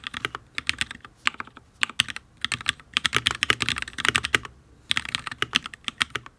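Fingertips of both hands type on a full-size HyperX Alloy Origins RGB mechanical keyboard with Fire switches and ABS keycaps on a steel plate. Around 35 short, bright clacks come in quick bursts separated by brief pauses, with almost no ring after each key. The board sounds solid.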